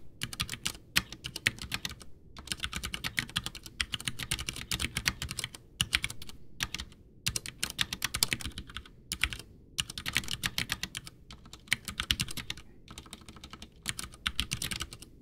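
Both hands type with fingertips on a full-size white plastic Ducky One 2 mechanical keyboard with Cherry MX Brown switches, backlit, with a hollow case resting on a desk. Bursts of rapid, bright, clacky keystrokes with very short ring are broken by brief pauses. Under them sits a low hollow thump from the case.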